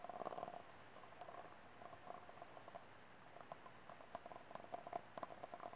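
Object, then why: Small ribbed disposable plastic cup. Fingernails scratch the ribs of a small, empty, ribbed white disposable plastic cup held sideways, then tap its base with the cup upright. The result is a hollow, soft scratching followed by light, quick taps with a faint ringing tone.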